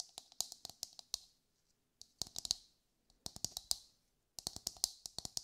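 A brown husked whole coconut with a hard fibrous shell, held in both hands, is tapped with long light-grey nails. Quick, sharp, bright clicks come in four rapid bursts separated by short pauses. Each tap dies away almost instantly, with little low end.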